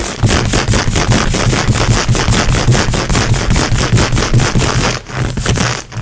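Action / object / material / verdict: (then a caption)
scrape / synthetic stretch leggings on a leg / synthetic fabric / none. Long nails rapidly scratch and pluck grey textured synthetic stretch-fabric leggings worn over the knee. The result is a fast, steady run of rough rasping strokes with a soft low thump under each pass, briefly easing just before the end.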